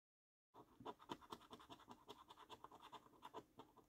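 A coin scratches the scratch-off coating over the symbols on a thin, flat £15 Luxury Lines National Lottery paper scratch card held down by hand. After a brief silence, a quick series of short, rasping strokes follows, with a gritty midrange tone near 1 kHz and a bright, papery hiss on top.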